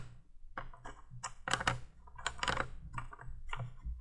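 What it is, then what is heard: Orange glass light bulb. Long painted nails tap on a small hollow orange glass flame-shaped bulb on top of a vintage 1980s plastic candle window light. Quick, bright clicks and taps with brief ticking rattles come in irregular clusters over a low steady hum.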